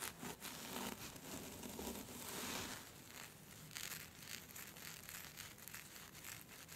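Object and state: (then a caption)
Silky scarf fabric being scratched. Long red-orange nails scratch and rub a thin, smooth, silky black scarf with a white skull print, spread out flat, gathering the fabric into folds. The result is a steady, bright rustling and crinkling hiss, broken by quick soft scratches and swishes that rise and fall in loudness without a regular rhythm.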